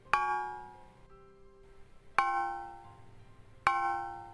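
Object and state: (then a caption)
Aluminum board struck with a hammer. An aluminum board is struck with a hammer three separate times to confirm the trigger fires. Each hit gives a sharp, ringing metallic clang with clear tonal overtones around 1 kHz, decaying over about a second before the next strike.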